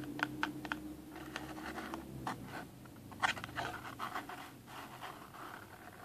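Fingernails scratch and tap the top face of a small, hollow, rectangular cardboard box, printed black with red splatter and a green cartoon face, resting on a table. Sharp, dry taps and bursts of papery scratching sit over a steady, faint low hum. Each tap dies away almost instantly, with no ring.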